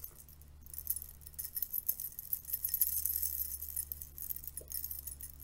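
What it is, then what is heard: Metal curtain rings clinking. A stacked bundle of thin silver metal curtain rings is held in the hands while fingertips and nails flick and rub the ring edges. The rings clink and jingle together in quick, irregular, bright bursts that fade almost at once. A steady low hum runs underneath throughout.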